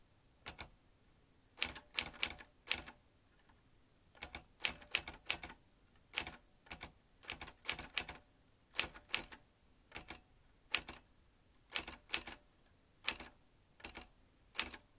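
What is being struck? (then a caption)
Manual typewriter with metal typebars. A vintage metal manual typewriter with round metal-rimmed keys and metal typebars is typed with the fingertips of both hands. Sharp, bright clacks come in quick bursts separated by short pauses, each strike dying away almost at once.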